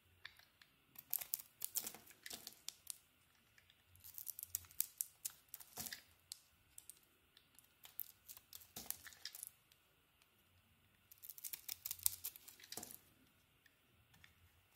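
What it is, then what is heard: Soap bar being carved. A solid white soap bar with a purple glossy coating is carved and peeled with a metal blade held in the fingers. Bursts of crisp, bright scraping and shaving come in three clusters, with quiet pauses between them.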